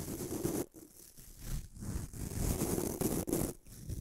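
A fingertip rubs and flicks the white nylon bristles of a small bamboo toothbrush held above a microphone. The result is a continuous, dense scratchy rustle with a low-end rumble and bright hiss, broken by a few brief quiet dips.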